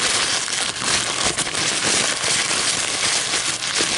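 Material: Paper.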